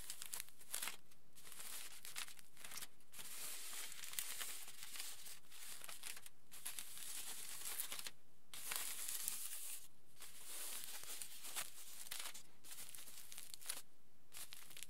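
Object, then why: Crumpled aluminium foil sheet. Palms and fingertips rub and smooth a large, flattened, crumpled aluminium foil sheet. The result is a steady, bright crinkling and crackling, broken by a few brief pauses, at a fairly even, quiet level throughout.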